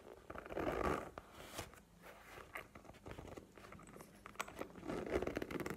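Long painted nails tap and scratch a map-print faux leather cosmetic pouch lying horizontally. Soft, crinkly scratching swells near the start and end, with quick dry taps scattered irregularly between them. Sharp, bright clicks stand out over a low rustle.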